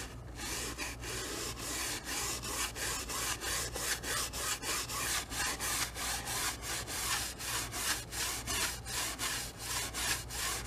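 A wide flat bristle brush is stroked back and forth across the lower part of a medium stretched cotton canvas on an easel, through wet oil paint. It makes steady, bright, scratchy rubbing strokes at about three per second, over a faint constant low hum.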